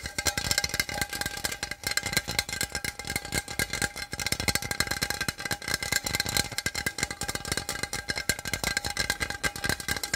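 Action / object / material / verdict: tap / small aluminum drink can / aluminum / none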